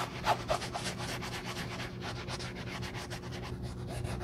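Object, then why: Leather sneaker upper. A black leather sneaker with a hand inside is rubbed by gloved fingertips wrapped in a navy cloth, working over the perforated leather upper and the heel area. Soft, continuous scuffing strokes carry a steady low hum underneath, with three slightly louder rubs near the start. Background music may be layered in.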